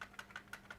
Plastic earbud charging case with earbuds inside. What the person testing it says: when you shake it you hear that matchbox sound that's actually the earbuds even though they are magnetic and they will not fall